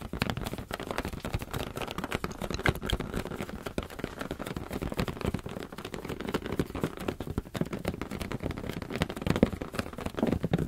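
A medium teal latex balloon, hollow and air-filled, is held close to the microphones and tapped and scratched with the fingertips. The result is a steady run of soft, dull, rubbery taps mixed with scratchy rubbing, mostly low in pitch and continuing throughout the clip.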